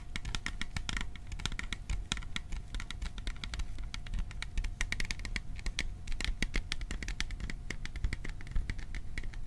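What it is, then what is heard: Metal popcorn tin tapped by fingertips. Fingertips tap rapidly on the sides of a hollow, cylindrical printed metal popcorn tin held in both hands. The taps come as a dense, steady stream of short, bright metallic ticks with very little ring, over a low rumble and a faint steady tone.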